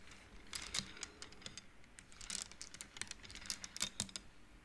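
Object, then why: Wooden bead abacus. Hands slide painted wooden beads along the rods of an upright wooden-frame abacus, so the beads click against each other. The result is a quick, irregular run of short, dry, bright clicks that die away almost instantly, over a faint low background hum.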